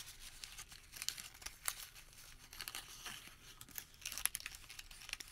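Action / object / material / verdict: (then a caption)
scrape / thin thermal paper receipt / paper / none. A single sheet of thin printed thermal paper store receipt, held in both hands over a white surface, is crumpled, unfolded and crinkled by fingertips. Dry, bright crackling and crinkling rustles come in quick irregular bursts with sharper crisp snaps, almost no low end, and no ring after each crackle.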